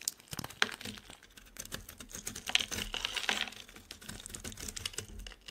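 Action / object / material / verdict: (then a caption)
scrape / bar soap shaved with a blade / soap / none. A utility knife blade shaves the surface of a solid, oval, embossed purple soap bar held in the hand, lifting off curled flakes. Quick, crisp scrapes and cuts make a dry, crackling, bright rasp with sharp clicky edges and almost no low end.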